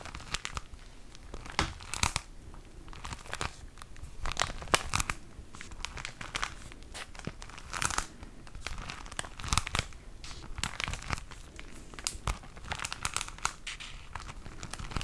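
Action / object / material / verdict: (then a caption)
scrape / tissue paper pack in plastic wrap / plastic film / none. A flat, plastic-wrapped pack of tissue paper is rubbed and crinkled with the fingertips close to the mic. Dense, bright, crackly crinkles come in quick bursts and dry snaps over 15 seconds, with a soft low rustle underneath between the louder crackles.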